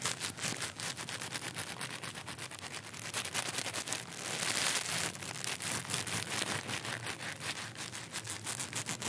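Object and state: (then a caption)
Crinkly plastic wrapper. A small, clear, crinkly plastic wrapper is held up in one hand, then brought close to the microphone and crumpled and rubbed between the fingertips. It makes a steady stream of dense, bright, crackling crinkles, swelling to a louder, hissier stretch around the middle before settling back into quick, rapid crackles.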